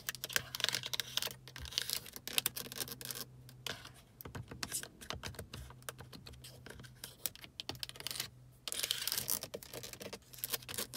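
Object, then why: Hard plastic car climate control panel with buttons and knobs. Long acrylic nails tap and scratch the buttons and knobs of a solid-mounted, hard plastic climate control panel on a car dashboard. The sound is a rapid, dense run of bright, sharp clicks and raspy scratches with very short decay, over a faint steady low hum.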